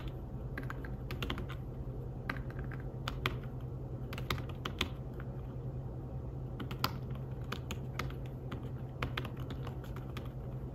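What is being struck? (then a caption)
Fabric-covered tablet keyboard. Fingertips tap the keys of a slim fabric-covered tablet keyboard in steady typing, making soft, muted clicks with brief bright edges that die away almost at once. A constant low hum sits beneath the irregular stream of keystrokes throughout.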